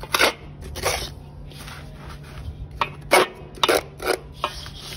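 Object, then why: Steel knife blade in cement and charcoal powder. A steel knife blade held in the hand scrapes and cuts through a mound of fine grey cement and charcoal dust with small pebbles in a basin. The result is a series of short, gritty, bright scraping strokes separated by a quieter, dry, rustling hiss.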